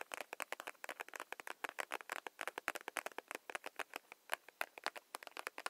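A soft plastic hand cream tube held in the hands is tapped and rubbed with long nails, giving a rapid, uneven patter of about 39 quick, dry clicks and scratchy taps. The taps are crisp and bright with almost no low end, and each one dies away instantly with no ring.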